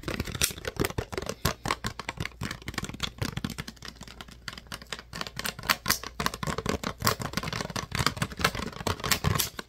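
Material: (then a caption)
Plastic. Fingertips and nails tap and scratch the ridged body of a clear, thin PET plastic water bottle that appears empty. The result is a rapid, irregular stream of short, dry clicks and taps with brief crinkly scratches, bright and crisp with some low thumps, and each hit dies away almost instantly.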